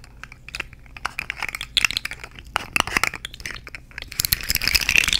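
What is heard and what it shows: A purple and orange segmented plastic articulated fidget slug, held vertically and handled by fingers with long nails, is moved so its jointed segments clack and rattle. Many quick, bright clicks come in an irregular stream, then turn into a denser, continuous rattling near the end.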